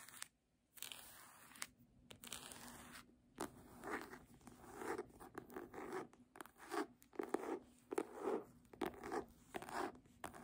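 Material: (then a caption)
Faux leather. A red embossed faux-leather hardcover book is scratched along its cover and page edge while lying flat, then lifted and held upright as long nails tap its front cover. Quiet, dry scratching gives way to a run of soft, short taps and scrapes with a mid-range body and a faint bright hiss. Pauses of near-silence fall between the strokes.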